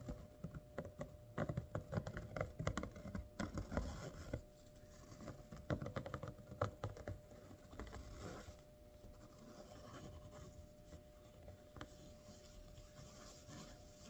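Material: Cotton fabric.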